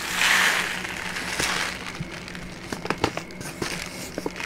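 A brown kraft paper pouch with a folded bottom is held in both hands while its paper walls are crinkled and rubbed with fingertips and long nails. A bright, dense rustling hiss swells at the start, then settles into softer scraping broken by sharp, brief crackles and crunches. A faint steady low hum runs underneath.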